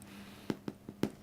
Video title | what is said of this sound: How to make easy peasy bread in a bag in just 8 minutes - Eat Happy Project@ | there's a little hollow sounding noise that they make if you tap the bottom